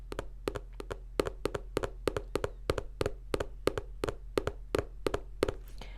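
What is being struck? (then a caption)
Paperback book cover, plastic-coated paper. Rapid, light taps on the glossy, plastic-coated paper cover of the paperback poetry book "Vice," a cover that is very plastic, very reflective, and less soft than the favorite kind. The taps come often in quick pairs, each a short, dry click with a midrange tone around 410 Hz that dies away almost instantly over a steady low hum.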